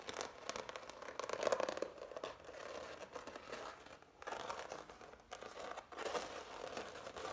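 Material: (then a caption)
Oil paint. Fingertips and nails scratch, rub and tap the raised texture of a framed canvas covered in heavy impasto oil paint. The result is a dense, dry, crinkly scratching concentrated in the midrange, with almost no low end. It runs nearly continuously, with brief quiet gaps around four and five seconds.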